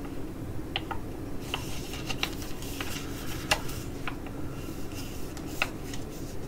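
Long acrylic nails tap and scratch the front and back of a flat, sealed foil-laminate sheet mask pouch, white with Korean text and filled with a soft mask, as it is held in both hands and crinkled. Sharp, bright clicks and crinkles ring out at irregular intervals over a steady low rumble, each dying away almost at once.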